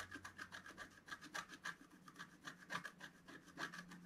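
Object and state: Scratch art paper being scratched.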